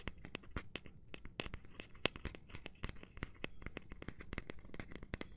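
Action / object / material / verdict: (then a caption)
tap / cork surface / cork / none. Gloved hands tap and scratch a cork surface, making a quick, uneven run of short, dry taps over a soft, continuous scratching rustle. Each tap has a dull low thud with a bright click on top and dies away at once, and one tap near the two-second mark stands out louder and sharper.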